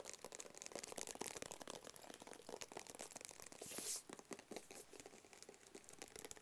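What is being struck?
Small closed cardboard box.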